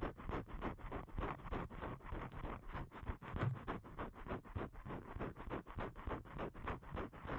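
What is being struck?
Thin paper cardstock.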